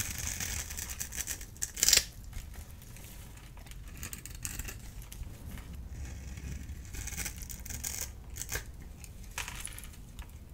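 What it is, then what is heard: Dry bar soap being cut. A rectangular solid bar of blue-and-white striped dry soap, held in one hand, is scraped and cut into cubes with a small handheld blade tool, and crumbs fall off. Bright, dry scraping and crisp cutting sounds run over a low background hum, with a sharp crunchy cut near the two-second mark.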